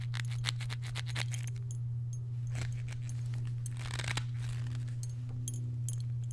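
A dark leather belt rolled into a coil, possibly with its buckle partly hidden inside, is held in one hand and squeezed and twisted with the fingers. Quick creaks, crinkles and small clicking taps come in bursts over a steady low hum.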